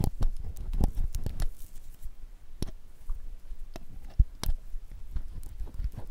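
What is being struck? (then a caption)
Glycerin soap bar. A palm-sized solid bar of clear, translucent glycerin soap is held in one hand and scraped with a metal loop carving tool with a wooden handle, carving thin curls that pile up behind it. Soft, low, dull scraping runs throughout, broken by short, sharp crackling ticks that die away almost instantly.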